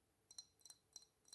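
A large, hollow glass aftershave/perfume bottle is tapped with the fingers, giving four brief, quiet taps, each landing as a quick double tick. The taps are bright, glassy clinks with almost no low end and very little ring. It makes a nice tapping sound because the bottle is big and hollow.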